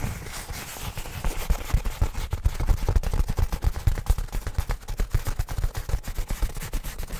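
Fingertips of both hands tap and scratch the surface of a black nylon fabric bag held close in front of the mic. A rapid, continuous stream of dull, low thumps builds in strength, each dying out almost instantly, with a soft fabric scratching hiss underneath.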